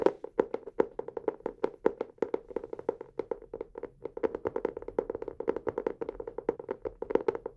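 A teal hardcover notebook, held upright in both hands in front of the microphones, is tapped quickly with fingertips and nails on its cover. It makes a steady, rapid stream of short, dry taps with a hollow midrange knock around 380 Hz, brighter clicky edges from the nails, and almost no ring or low end.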